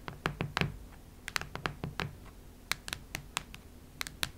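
Long red nails tap and scratch near the center of a cactus-print hardcover notebook with a cardboard cover. A quiet, irregular series of short, sharp taps with bright clicky ticks rises over a low background hum, with soft scratching between them. Each tap dies away almost at once.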